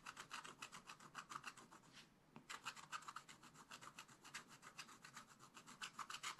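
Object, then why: Coated scratch-art paper scratched with a wooden stylus. A wooden stylus scratches a flat, black-coated scratch-art page in a spiral-bound book with rapid back-and-forth strokes. The result is a quick, steady series of dry, raspy scratches, bright and airy with a mid-range core. There is a brief pause a little after the two-second mark before the strokes resume.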